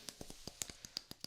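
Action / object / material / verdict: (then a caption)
tap / wooden block / wood / none. A wooden block is tapped repeatedly at an uneven, varying pace, producing a run of short, dry, bright clicks with very little ring. The sound is quiet and mostly high-pitched.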